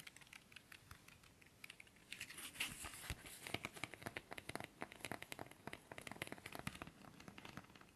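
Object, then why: Thin cardboard incense stick box. A long, thin, hollow cardboard box of incense sticks with red and black print, held horizontally, is tapped quickly with fingernails and fingertips. The taps are quiet at first, then grow louder after about two seconds into a dense run of dry, bright, clicky hits with no ring.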